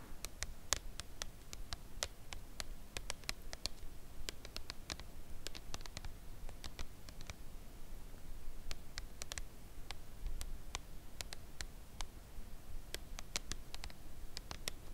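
A full red Lindor cardboard chocolate box lies flat on fabric and is tapped slowly on its front face with long nails. Around fifty short, dry, bright clicks come at an uneven pace with no ring after each, over a quiet, steady low rumble.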